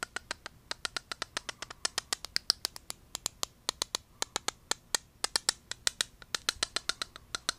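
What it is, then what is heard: Small hollow plastic cube tapped with fingernails. A small hollow translucent pink-red plastic cube with a bright LED light inside is held in the hand and tapped and scratched with the fingertips and nails. About 47 sharp, dry, high clicks come in a quick, steady run, each stopping dead with almost no ring or low end.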